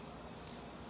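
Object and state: Nothing is struck.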